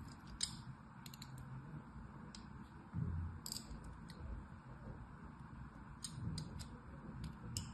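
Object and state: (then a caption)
Soap bar being carved. A thin metal carving tool, held by a hand with long white nails, scratches and scores parallel lines into the surface of a solid, rectangular, palm-sized red bar of soap held in one hand. Short, bright, crisp scraping ticks come in scattered bursts over a soft, steady low rumble.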